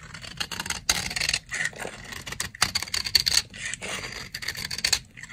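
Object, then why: Bar of soap scraped with a blade. A box-cutter blade scrapes fine shavings from the edge of a solid, dry brown soap bar. Repeated bright, dry scraping strokes come in short bursts separated by brief pauses, with a faint high, thin tone in some strokes and almost no low end.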